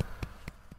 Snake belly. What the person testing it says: I can kind of hear that hollow sound of her belly when I tap it gently.